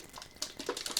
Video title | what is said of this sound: 25 Non-Toxic Swaps for Women Over 50 🌸 Dryness, Body Balance & Hot Flashes | It has a little ball in there. You can hear it.